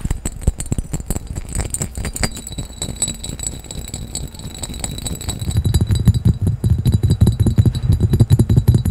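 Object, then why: Cut glass carafe. A clear, empty cut-glass carafe with a diamond pattern is tapped and scratched quickly with fingertips and nails, with the microphone set in the background. Rapid, uneven taps and scrapes sound mostly low and dull with a faint bright glassy edge. Each hit dies away almost instantly, and the tapping grows louder and denser in the second half.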